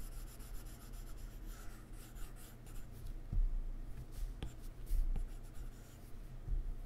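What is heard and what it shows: A plastic stylus tip rubs short, repeated strokes across a solid iPad glass touchscreen while fingers brush the surface, making a soft, quiet scratching and rubbing sound. Three sharper ticks stand out in the steady, low-heavy rustle.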